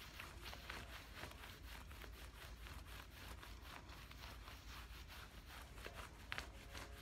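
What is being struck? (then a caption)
Cotton cargo trousers. Fingertips and nails scratch and rub soft camouflage cotton cargo pants being worn, moving along the thigh and over the pocket. A quiet, steady stream of rapid, papery scratching strokes with bright fabric hiss sits over a low rumble, with a few slightly sharper scrapes near the end.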